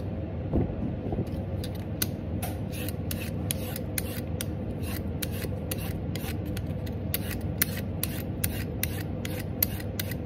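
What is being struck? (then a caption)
Raw carrot scraped with a metal peeler. A vegetable peeler with a metal blade repeatedly scrapes strips off a whole, solid raw orange carrot held in the hand. Each stroke makes a short, bright, crisp rasp over a steady low background rumble.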